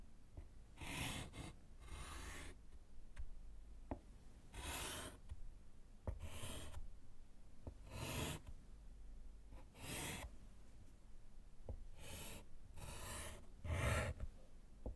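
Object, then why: Chalk on a wood-framed slate board. A gloved hand writes with orange chalk on a small, solid slate chalkboard in a wooden frame. Bursts of bright, broadband scratching from the chalk strokes are separated by quiet pauses and a few faint taps.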